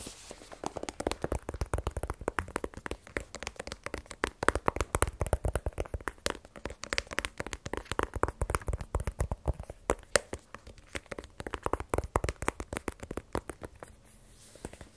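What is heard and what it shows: Fingernails tap rapidly across the face and side of a small, black, rigid cardboard iPhone 12 Pro box that is hollow with the phone still inside. The taps come in quick, uneven bursts of dry, short clicks with a hollow low-mid knock and almost no ring, continuing steadily through the whole clip.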